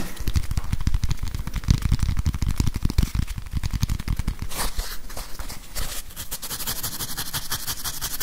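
Fingernails tap and scratch the plastic back of a grey whiteboard eraser with a felt pad and a barcode label, held close to the microphone. Rapid, deep, thudding taps come in a dense, steady patter, joined later by brighter, hissy scratching bursts.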